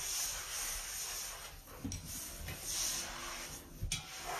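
A hand holding an orange and white sponge scrubs across the floor of a large, hollow, empty white ceramic basin sink fitted with a metal drain plug. The rubbing is a steady, bright, hissy swish, broken by two short, low, hollow knocks.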